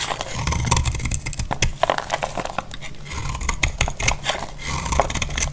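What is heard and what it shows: A solid, dry orange bar of soap held in the hand is shaved with a utility-knife blade, and the flakes crumble onto a grey cloth. Quick, crisp scraping strokes run one after another, with bright crackly crumbling over a steady low rumble.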